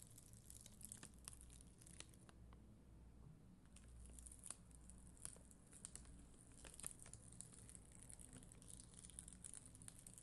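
A black mascara spoolie held by long green nails scratches across a solid, flat sheet of red and clear plastic acrylic rhinestone gem stickers. The result is a soft, steady crinkly scratching with many quick, bright ticks and clicks over a low, quiet rumble.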